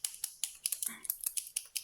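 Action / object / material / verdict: shake / paint marker with mixing ball / unknown / none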